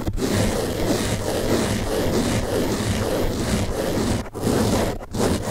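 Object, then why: Open-cell foam car sponge. Fingertips scratch and rub the top and side of a large blue open-cell foam car sponge held in the other hand. The result is a steady, dense scratchy rustle, heaviest in the low and middle range, with brief pauses near the end.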